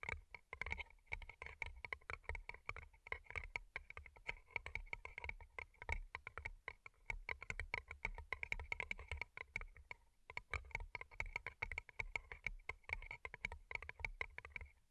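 Long nails tap rapidly on two identical hollow rhinestone-covered paper cups, making a dense, continuous patter of crisp, clicky taps. Each tap is bright and dies almost instantly, with a ringing tone around 2.2 kHz and some low thump beneath. There is a brief lull near the ten-second mark before the quick tapping resumes.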